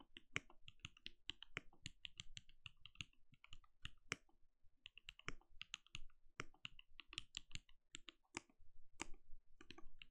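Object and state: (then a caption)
Plastic mechanical keyboard. Fingertips of both hands type rapidly on a compact backlit mechanical keyboard with plastic keycaps and a translucent glowing case. The clip is a dense, uneven run of short, sharp key taps, each a bright click around 2.2 kHz over a soft low thud, and each dies away almost instantly.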